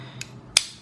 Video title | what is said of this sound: CRKT Squid Review - Perfect Knife To Loan To Friends | and you can hear that the actual steel frame is actually quite hard